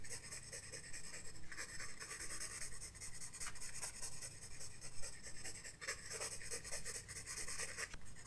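A graphite pencil scratches and shades across the page of a spiral-bound paper sketchbook lying flat on a desk, using repeated short strokes. The strokes make a continuous, bright, papery rasp over a steady low rumble, with quick scratchy accents throughout.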